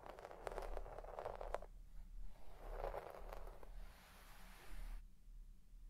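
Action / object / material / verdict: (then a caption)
scrape / synthetic shag carpet and plastic comb / synthetic fibre / none. A white plastic pick comb is dug into a deep-pile red shag synthetic carpet, soft and fibrous, and raked through it with a scratching motion. Quiet bursts of soft, scratchy rustling come and go over a steady low hum, with a faint high hiss near the end.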